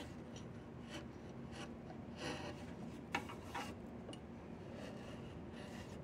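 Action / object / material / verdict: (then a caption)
scrape / diamond willow walking stick / wood / none. A flat chisel repeatedly scrapes a solid diamond willow walking stick, producing soft, dry rasping strokes over a steady low background hiss. A few brighter, louder scrapes stand out near the middle before the strokes settle back to a quiet, even rhythm.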